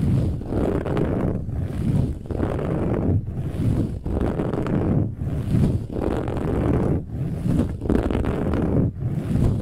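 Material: Woven fabric.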